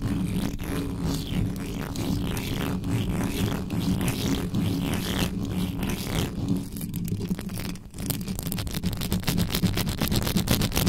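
Fingers with long yellow nails scratch and grip the mesh grille of a black metal USB microphone, with no cover on it. Fast, irregular rasping strokes sit over a heavy, boomy low rumble with a steady low hum. After a brief dip near the eight-second mark, the scratching becomes quicker, denser and brighter.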